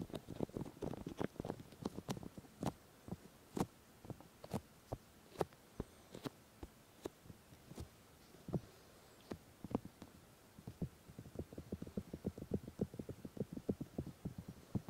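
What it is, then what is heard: Silicone microphone ears being rubbed. Fingers and palms of both hands cup and rub both silicone ears of a 3Dio binaural microphone, producing soft, muffled, low thumps and brief pats with little brightness. The touches come in quick irregular clusters at the start and end, with sparser, sharper taps and near silence in between.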